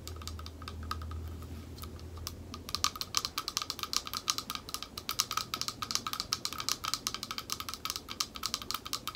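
Long acrylic nails tap the base and sides of a small, thick, clear glass bowl held upside down in both hands, hollow and empty. Sparse, bright clicks give way after about 2.5 seconds to a rapid, steady stream of dozens of short, sharp taps, each dying away almost instantly. A faint low hum sits underneath during the first two seconds.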